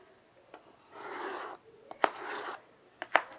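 White chalk draws curved lines on a small wood-framed chalkboard resting on carpet, as a child sketches. Two longer rasping scratches are heard, each about half a second and spanning mid to bright high frequencies. Short sharp taps of chalk come between and after them.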